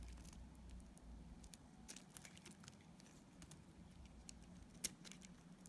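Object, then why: Solid bar of soap. A multi-blade cutter scrapes curls and chips off a dark grey solid bar of soap held in the hand and partly cut away. The scraping makes a soft, steady patter of bright crackly ticks over a low background rumble, with one sharper click near the end.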